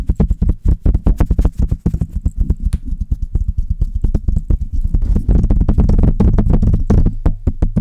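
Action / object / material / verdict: tap / metal mesh microphone grille / metal mesh / none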